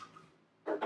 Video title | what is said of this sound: Suction Machine | shake it to make sure that the top, the float inside, is not stuck from goop